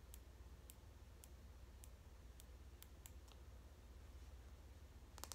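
The teeth of a large white plastic comb, held in both hands, are strummed and flicked with fingernails, making sharp, bright clicks spaced out at an uneven pace. A steady low hum sits beneath the clicks, and a quick cluster of clicks comes at the end.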